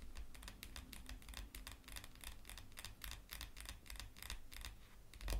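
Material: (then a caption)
Cardstock. Long matte black nails tap and scratch the top and edges of a stack of printed cardstock tarot cards lying on a cloth, making a quick run of dry, bright clicking taps over a soft low rumble. Near the end the cards are handled and fanned apart, giving a brief louder rustle.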